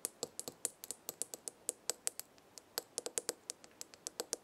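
Fingernails tap and scratch a small glass jar with a gold lid, full of dried herbs, while a hand grips the jar. About 29 quick, quiet, bright clicks sound in an irregular rhythm, each dying away almost instantly with no low-end weight.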